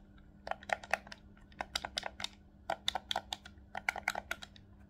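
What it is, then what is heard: Plastic game controller buttons. Fingertips and thumbs press the face buttons and sticks of a hollow black plastic Nintendo Switch Pro controller, seen from the front. About 23 rapid, dry plastic clicks come in quick clusters separated by short pauses, each snapping off almost instantly with a bright edge. A faint steady low hum sits underneath.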